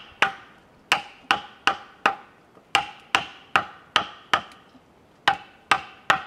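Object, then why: Cedar log worked with a wooden mallet and chisel. A wooden mallet drives a chisel into the end of a large, solid cedar log resting on a wooden sawhorse. Thirteen sharp, bright knocks land at an uneven pace, each a crisp woody chop with a short ring and a tone around 1.2 kHz.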